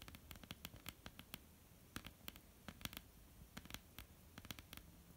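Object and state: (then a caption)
Wooden table. Long polished nails of both hands tap and scratch a flat, dark, solid wooden tabletop. Quiet, irregular, sharp clicks with bright, crisp edges die away almost instantly over a low, dull thud, with soft scratching filling the gaps between taps.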